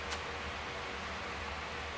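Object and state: Nothing is struck.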